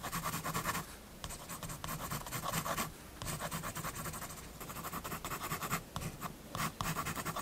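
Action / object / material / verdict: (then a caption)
scrape / fineliner pen on paper sketchbook page / paper / none. A fineliner pen makes dense hatching strokes on a page of a spiral-bound paper sketchbook holding a building sketch. Bursts of fast, gritty scratching with a bright hiss come in several runs, separated by short quiet pauses.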